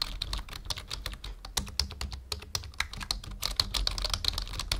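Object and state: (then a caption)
Plastic computer keyboard. A full-size black plastic membrane keyboard on a wooden desk is typed on with the fingertips of both hands. It makes a steady run of quick, dry clicks with bright tops, over a faint low hum. Each keystroke dies away almost at once.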